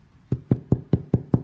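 A freshly baked loaf of bread, just taken out of the pot and held with hot towels, is knocked six times on its bottom crust. Each knock is a short, dull, hollow thud with a low body and almost no ring. The hollow sound shows the loaf is baked through.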